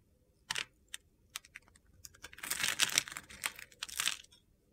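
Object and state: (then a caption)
Soap bar being carved. A utility-knife blade scrapes crunchy cubes off a hand-sized solid mint-green soap bar. First come sparse, sharp, bright crackles, then a denser run of gritty scraping and crumbling with little low end.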